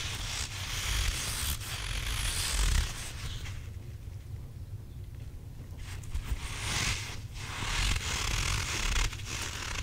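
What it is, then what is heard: Squishy rubber toy with gritty filling. A hand-sized grey and white stretchy rubber possum toy with a soft, gritty or bead-filled body is held in both hands and squeezed while fingertips and nails scratch and rub its textured surface. The result is a steady, bright, gritty scratching and rustling over a low rumble, easing quieter in the middle before picking back up.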